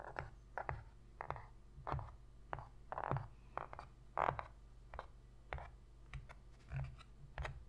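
Long pink nail tips tap rapidly on the inner bottom of a shallow, empty white cardboard box lid. The result is a quiet, uneven run of short, dry, papery taps and brief scratchy brushes. Each lands with a hollow mid-range knock that dies away almost instantly over a low steady hum.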